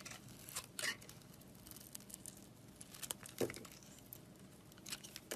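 A box-cutter blade scrapes the red layer off a solid red, glittery bar of soap held in the hand, revealing the pink inside. Quiet, dry scraping and crinkly crackling run throughout, with a few brighter, sharper bursts standing out along the way.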